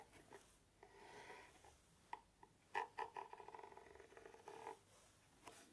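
A small, hollow, dark navy paper-covered cardboard gift box is held in both hands close to the ear microphones and scratched and tapped with the fingertips and fingernails. Soft, rustling scratch swells alternate with quick, sharp taps that carry a hollow, boxy resonance around 900 Hz, followed by a longer run of light scratching and a final faint tap.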